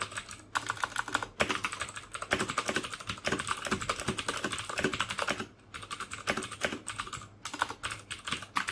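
Fingertips type rapidly on the hollow plastic keycaps of a full-size black plastic mechanical keyboard with clicky Cherry MX Blue switches and red backlight, sitting on a desk beside an untouched mouse. Dense, bright, sharp clicks run in quick bursts with brief pauses, each keystroke dying away almost instantly.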